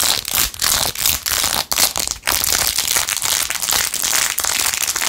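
A blue-jeweled, rhinestone-covered glitter plastic phone case, held in one hand, is scratched quickly over its rhinestones with long acrylic nails. The result is a dense, bright crinkling and crackling with very little low end. It comes in rapid bursts with brief gaps.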